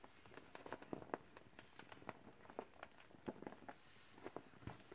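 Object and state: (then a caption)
Vinyl beach ball. Gloved hands squeeze and crinkle a partly inflated, hollow, teal clear vinyl beach ball. The result is a quiet run of short, dry crackles and soft pops, mostly in the low-mid range, each dying away almost instantly. A faint, steady hiss sits underneath.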